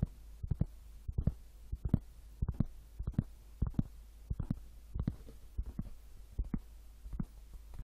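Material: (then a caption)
Wood. Wood is tapped in a quiet setting, giving 26 soft, dull, low thumps that come in irregular pairs and small clusters. Each tap is short and dry with almost no ring, and the sound stays mostly in the low range.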